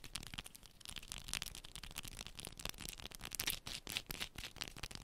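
A small solid yellow bar of soap, held in both hands, is scratched quickly with long pointed nails. The result is a dense run of dry, bright scratching and clicking sounds that stop short with no ring.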